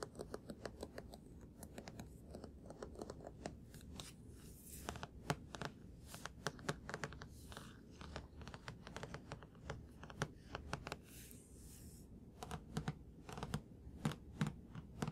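A thick, solid paperback book is held and turned while fingertips and nails tap and scratch its spine, cover and page edges. The result is a steady run of quick, dry taps and soft scratching with almost no ring, over a low, dull background.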